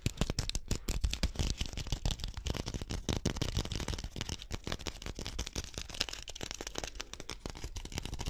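Fingernails scratch and tap quickly along the woven strands of a small, hollow, pink-dyed rattan (wicker) ball held in both hands. The result is a dense, continuous run of dry crackling ticks and scrapes with a low, thumpy body and bright brittle edges, each tap dying away almost instantly.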